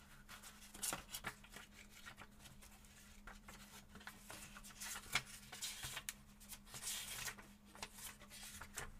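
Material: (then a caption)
Paper. A thin paperback book with paper pages is held open over a table while fingertips flip and riffle its pages throughout, with two other books lying flat and untouched on the table. Quiet, crisp, bright papery flicks and rustles come in irregular bursts over a faint steady low hum.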